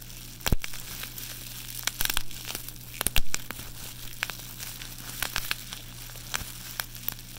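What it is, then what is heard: Plastic bubble wrap being crumpled. A loose sheet of clear plastic bubble wrap is held in bare hands and crumpled, squeezed and rubbed between the fingers and palm while the fingertips press the air bubbles. Quiet crinkling and crackling run throughout, broken by scattered sharp, bright snaps and pops, over a steady low hum.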